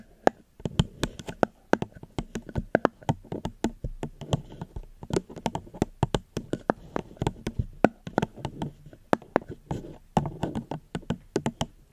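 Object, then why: Plastic cup. Fingers gently tap on a plastic cup held close to the microphone. Many short, dry taps come in an uneven, quick rhythm, each with a soft low-mid thump and a brief bright click that dies away at once. Brief quiet gaps fall between some runs of taps.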